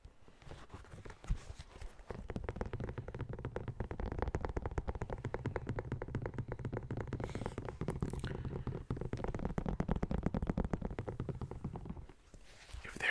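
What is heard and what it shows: A hollow, empty yellow and blue knit mesh running shoe with a foam and rubber sole and a plastic air unit is held up and scratched and tapped on its upper and sole with fingertips and nails. After a quiet start, a rapid, steady stream of soft, dull, low-pitched taps and scratchy rustles runs for about ten seconds before stopping near the end.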